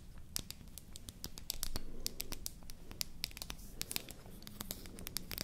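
A slim, finger-length, solid pink painted wooden toy lipstick or mascara tube is held upright and tapped and scratched with long nails. Rapid, irregular, sharp, bright clicks mix with dry scratching over a soft low rumble. Each tap dies away instantly with no ring.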